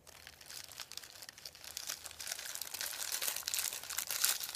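Fingertips rub, press and crinkle a thin sheet of printed white paper lying on a wooden table. Dense, bright, irregular crackles and crunches fill the high range with almost no low end, growing gradually louder across the clip.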